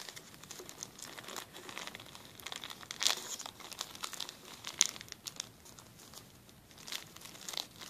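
A flat, clear plastic zip-lock bag lying on a table has its edge rubbed and lifted with fingertips. It gives quiet, bright, irregular crinkling and crackling, with a few sharper crackles standing out, then settles back into a soft, high rustle.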